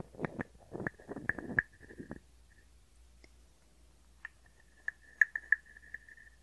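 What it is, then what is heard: Wooden frog guiro. A small, hollow, carved wooden frog guiro has its ridged back scraped with a wooden stick, producing quick, raspy, ratcheting bursts in the first two seconds. After a pause come sparse, sharp wooden clicks, each carrying a short hollow ring near 1.8 kHz.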